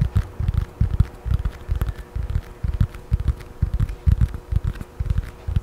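A thin children's paperback book with a glossy blue and yellow paper cover, solid and held close to the mic, is scratched and tapped with long nails. The result is a quick, irregular run of dull, deep thumps with a faint bright scratching texture and a steady low hum underneath.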